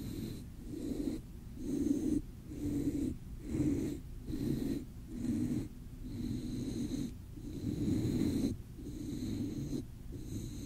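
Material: Nothing is struck.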